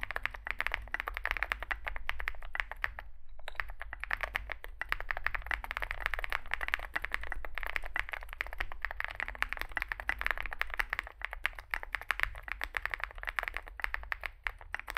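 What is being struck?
Mechanical keyboard, aluminium case and plastic keycaps.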